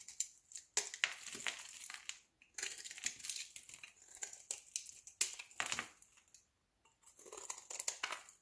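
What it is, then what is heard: Bar of soap being shaved with a blade. A solid green soap bar held in the hand is scored and shaved into flakes with a metal utility knife blade. Rapid, dry, bright scraping and crisp crackling strokes come in quick bursts, with short pauses between them.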